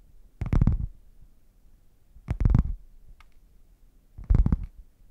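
Fingernails scratch and tap the surface of a closed, hollow red padded faux leather zip case as it is turned from flat to upright. Three short bursts of muffled, low, rumbling thuds and scuffs, each with a faint bright scratchy edge, are separated by near silence.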